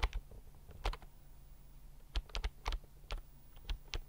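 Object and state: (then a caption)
Plastic computer keyboard being typed on. A slim white plastic computer keyboard is held tilted near the mic while fingertips type rapidly on its keys. About 11 short, sharp key clicks with bright tops and a soft low thump come in uneven bursts, with a quiet pause in the middle. Each click dies away almost instantly.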